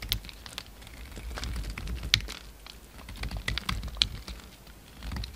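A utility knife blade cuts and scrapes a solid cream bar of soap as it is shaped, giving soft, scattered scratchy scrapes over a low rumbling hum. Sharper bright clicks stand out every second or so as the blade catches and flakes the soap.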